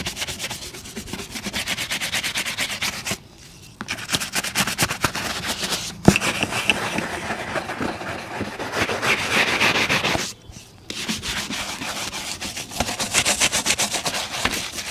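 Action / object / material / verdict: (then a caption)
scrape / leather boot brushed with a bristle brush / leather / none. A brown leather boot, held in one hand, is brushed with a bristle shoe brush in quick back-and-forth strokes that make a bright, scratchy rasp. The brushing stops briefly around 3 and 10.5 seconds, and a sharp knock sounds near the 6-second mark.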